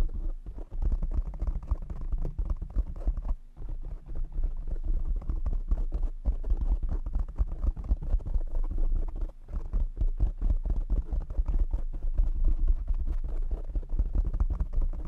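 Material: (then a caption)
Foam. Fingertips tap rapidly on the top and sides of a black foam windscreen on a desk microphone, producing a dense, continuous stream of muffled, boomy low thumps with almost no high content. The tapping runs steadily throughout, with brief dips near 3.5 and 9.5 seconds.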